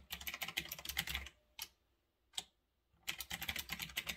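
Fingertips type on a retro typewriter-style mechanical keyboard with round backlit plastic keycaps, sitting on a desk. A quick run of bright, sharp clicky keystrokes gives way to two lone key clicks separated by short silences, then the rapid typing resumes until the end.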